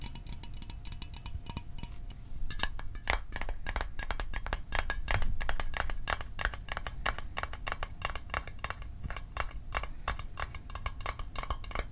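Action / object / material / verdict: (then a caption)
tap / small metal mint tin / thin metal / none. A small metal Altoids mint tin is tapped rapidly and unevenly for ASMR, with no talking. Short, dry metallic clicks come quickly, sparser in the first couple of seconds and then denser, each dying away almost instantly over a low background rumble.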